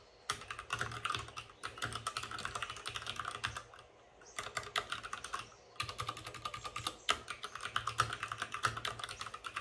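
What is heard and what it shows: Fingertips of both hands type fast on a white RGB-backlit mechanical keyboard with plastic keycaps and a hollow plastic case. Dense bursts of sharp, bright plastic clacks ride over a faint low thump, with brief pauses near four and six seconds. Each keystroke snaps off almost at once, leaving no ring.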